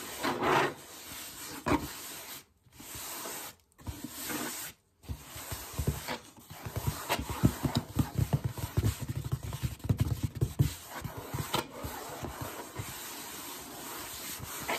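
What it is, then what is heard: Cardboard shoe box. Fingertips and short nails scratch, tap and rub across the flat printed lid of a closed, hollow red cardboard Vans shoe box. Dry, close scraping and rasping with soft hollow taps continues throughout, broken by a few brief silences early on.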